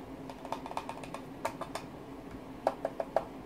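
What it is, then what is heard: Plastic graphics card shroud. Fingertips tap the shroud of a Radeon Vega Frontier Edition graphics card, producing fourteen short, dry, hollow clicks with a pitch around 650 Hz and almost no ring, loosely spaced with a louder cluster at the end. The shroud, expected to be metal, sounds and feels like plastic.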